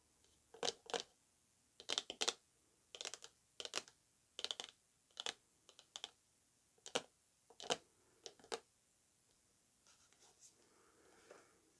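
Long acrylic nails tap and scratch the face and side of a hollow, rectangular orange striped cardboard perfume box lying on a rug and later tilted. Around twenty crisp, bright taps come mostly in quick pairs, each dry and short with no low end. Softer scratching follows near the end.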